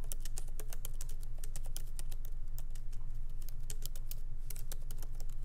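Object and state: Laptop keyboard with plastic keys.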